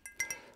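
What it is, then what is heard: Ceramic mug. A handmade ceramic mug from a pottery workshop is tapped five times. Each tap gives a bright, glassy clink with a ringing tone around 2 kHz that fades quickly, with almost no low end.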